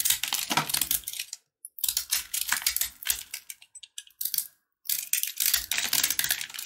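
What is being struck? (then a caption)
Sugar-coated peanut brittle bar. A box-cutter blade carves and scratches chunks off a solid, hand-held red and white sugar-coated peanut brittle bar. Rapid, bright, crisp scraping and crackling bursts come in clusters with brief silent gaps, each scrape ringing out very quickly.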